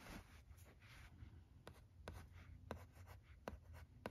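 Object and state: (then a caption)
Plastic LCD writing tablet being written on. A red plastic stylus writes letters on the smooth screen of a thin, teal plastic-framed LCD writing tablet resting on carpet. Quiet scratching strokes are punctuated by six short, sharp ticks over a low, soft rumble.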